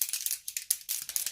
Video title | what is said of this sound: How to look 10 years younger !!! 40+ makeup and hair tutorial 😉 | You can hear it's got like ball bearing in it.